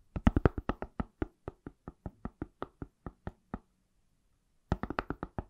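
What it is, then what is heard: Smartphone in silicone case. An iPhone in a pale, palm-sized silicone/plastic case is tapped on its solid back with fingertips and nails, giving about 28 quick, dull knocks with a soft clicky edge and almost no ring. A steady run of taps stops for about a second of silence, then a faster cluster of taps follows.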